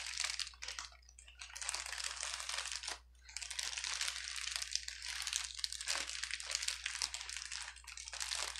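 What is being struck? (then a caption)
Plastic bubble wrap sheet. A clear plastic bubble wrap sheet lying on a table is pressed and rubbed with the fingertips of both hands. It gives a dense, bright crinkling with quick crackles and short pauses around one and three seconds. A faint steady low hum runs underneath throughout.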